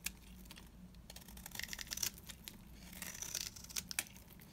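A blade digs into the face of a beige, oval, solid, dry bar of soap, shaving off curls. The result is a quiet run of crisp, bright scraping and crackling ticks, each dying away almost instantly, with a few louder snaps standing out.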